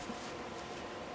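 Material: Nothing is struck.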